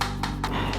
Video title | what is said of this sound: RECEIVER TERBAIK di Tahun 2022? Nex Parabola HD Combo - Receiver Parabola & TV Digital DVB-T2 Jadi 1 | kalau kita ketok kedengaran bunyinya ini jelas plastik